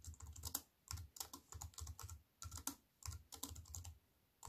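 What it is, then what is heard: Aluminium and plastic wireless keyboard. Fast two-handed typing with fingertips and long nails on a compact aluminium and plastic wireless keyboard resting on a wooden table. Quick runs of crisp, bright key clicks over a soft low thump come in bursts separated by brief pauses, and each stroke dies away almost instantly.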